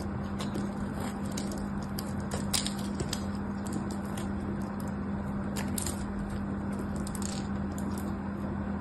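A small knife blade shaves and scrapes along the edge of a solid pink bar of soap held in the hands. Brief, bright scraping ticks and crackles scatter over a steady low hum that runs throughout. The level stays fairly even with only small peaks.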